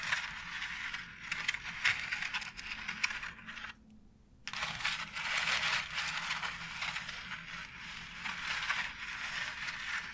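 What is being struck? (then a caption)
Plastic embossed wall panel. Long nails tap and scratch across a white embossed plastic faux brick wall tile, giving bright, dry clicks and raspy scraping. The sound runs busy and steady, with a brief near-silent pause around the four-second mark before the scratching resumes.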